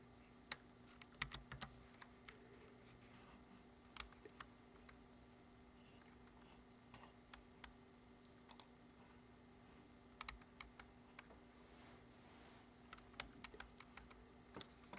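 Fingertips type on a black plastic computer keyboard resting on a wooden desk, producing short, bright key taps in irregular bursts with quiet gaps between them. Each tap dies away almost instantly over a faint, steady low hum.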